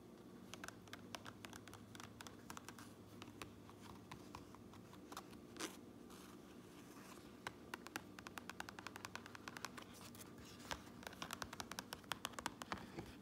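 Fingernails tap and scratch the gray lining and seam tape inside a white and red fabric trucker cap. Quiet, crisp clicks and bright scratchy rustles come in quick bursts over a steady low hum, growing denser toward the end. Each tap dies away almost instantly.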